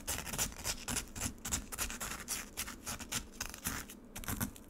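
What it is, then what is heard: Frozen lemonade ice slab being scratched. Long nails dig into and scratch the crushed ice surface of a solid frozen lemonade slab set in a black rectangular plastic tray. The result is a quick, uneven series of dry, crackling scrapes with a bright, hissy top and a low, crunchy undertone.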